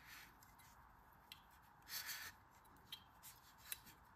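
A green kinetic sand ball is pressed into a stainless steel ice cream scoop held in the palm while the other hand, with long red nails, squeezes the handle. Quiet, bright, crumbly rubbing and scraping of sand inside the metal bowl is broken by about five short, sharp ticks.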